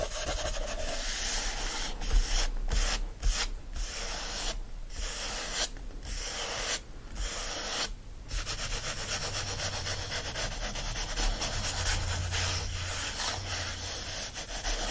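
Fingertips of both hands rub and scratch the printed white paper pages of an open hardcover book lying flat. The result is a steady, dry, papery hiss with a bright, grainy top and a low rumble. Short gaps break up the continuous scratching.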